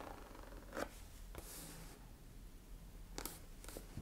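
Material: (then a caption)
Leather. Long nails tap and scratch along the shaft of a tall, dark brown, smooth leather boot held upright, hollow and empty, near its zipper. Quiet, dry taps and a brief bright scratching stand out over a low, steady hum.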